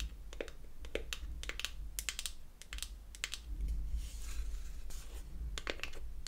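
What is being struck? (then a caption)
Small closed wooden box, tapped with fingernails. Long acrylic nails tap quickly on the top and edge of a closed beech-wood toy eyeshadow palette, a solid wooden block. The result is a rapid, irregular series of sharp, dry, bright clicks with almost no ring, heard over a steady low hum.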